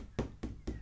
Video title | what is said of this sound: Preparing a canvas for Painting | if it sounds like that like a drum then it's nice and tight and it's good to use